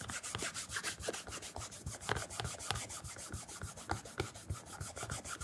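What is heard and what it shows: A cloth wrapped around fingertips rubs and polishes the leather upper near the toe of a black leather loafer held on a counter. Quick, uneven back-and-forth strokes make a bright, breathy swishing with soft low thumps as each stroke lands.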